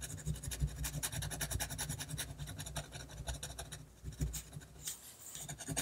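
A fine metal-nib technical pen, held in the hand, scratches short hatching strokes across a flat sheet of white drawing paper. It makes a rapid run of dry, raspy scratches with a bright, high edge and a soft low thump beneath each stroke. The strokes stay fairly even in loudness and stop dead with no ring.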